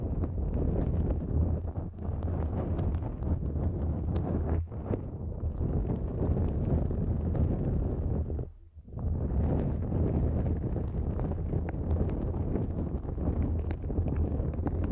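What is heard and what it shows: A thin, flexible pink-and-white nonwoven fabric drawstring pouch stretched over the microphone is scratched with long nails. The result is a steady, dense, low rumbling scratch with a brief pause near the end.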